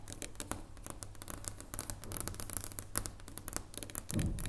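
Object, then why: Dark chocolate bar. Long nails and fingertips tap rapidly on the surface and near the edge of a solid dark chocolate bar resting on a wooden table, making quick, dry clicks with short bright ticks over a steady low hum. Near the end a louder, fuller rubbing sound rises briefly.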